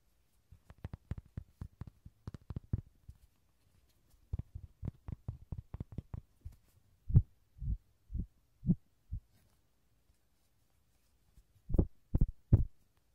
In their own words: 귀여운 로디 장난감 두드리는 소리